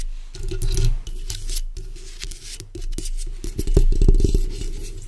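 The backs of long acrylic nails scratch along the sides of a black microphone's hollow metal mesh grille. The result is a continuous run of quick, uneven scraping strokes, with a heavy low rumble underneath and bright, crackly texture on top.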